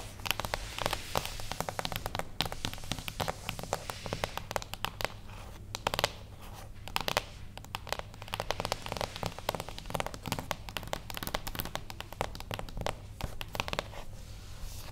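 A small, flat, beige cardboard gift box lies closed on a table while long acrylic nails of both hands tap rapidly across it. The result is a dense, continuous stream of crisp, bright clicks with very short decay. A steady low hum runs underneath throughout.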